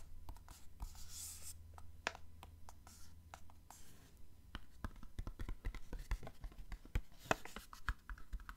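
Fingernails scratch across the glossy surface of a small, hollow, printed cardboard product box. The result is a quiet run of dry, crisp scratches and short, sharp ticks, each dying away almost at once, over a low hum that fades out midway.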